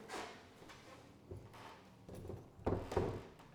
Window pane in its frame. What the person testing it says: It does rattle a little bit.